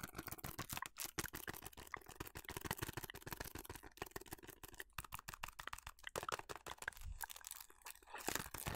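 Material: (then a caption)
Cardboard. A small, hollow, printed cardboard food colouring box is held in the hands and scratched and tapped with long nails. Rapid, dense clicking taps mix with dry, crackly scratching across a broad, bright range, with short, quickly fading hits and a slightly hollow papery tone.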